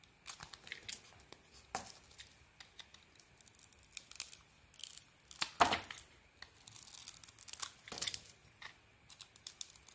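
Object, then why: Soap bar shaved with a knife blade. A palm-sized, solid cream-white bar of soap with a shiny teal outer layer is held in one hand and shaved with a utility knife blade, the flakes falling onto the table. Quiet, dry, crackly scraping strokes come in an irregular series of short bursts, bright in tone with almost no low end. A few longer, louder scrapes stand out along the way.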